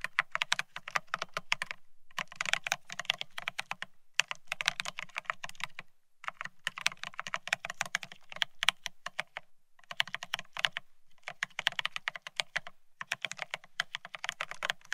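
Both hands type rapidly with their fingertips on a Bear65 mechanical keyboard fitted with blank white matte Cerakey ceramic keycaps on a steel plate, resting on white cloth. Fast bursts of bright, crisp clacks with a soft low undertone come in runs separated by short pauses. Each keystroke is short and dry, with almost no ring.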